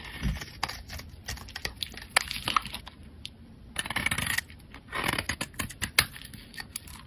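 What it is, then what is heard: Bar of soap being scraped. A metal blade scrapes a solid, pale green rectangular bar of soap held in the hand, shaving it into flakes. Bright, crisp scraping and crackling come in quick bursts, with short quieter pauses between the strokes.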